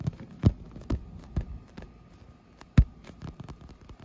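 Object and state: PVC vinyl inflatable pool wall.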